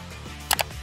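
Two sharp, bright knocks on the solid matte black body of a Lenovo Legion Pro 5i gaming laptop with an aluminium top cover, each dying out almost instantly with no hollow ring. The build sounds solid, with no hollow spots. Soft background music plays throughout.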